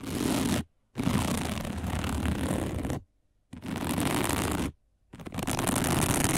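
Long nails scratch across a round, flat, dark woven plastic placemat in four dense bursts separated by short silences. Each burst is a continuous rough, broadband scraping texture with a strong low rumble beneath brighter hiss.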